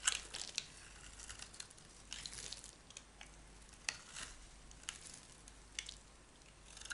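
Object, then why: Bar of soap shaved with a metal blade. A metal knife blade shaves and scrapes thin flakes from a solid oval yellow Camay bar soap held in the hand. Soft, bright scraping and crinkly shaving sounds repeat, punctuated by sharper clicks, with almost no low-end weight.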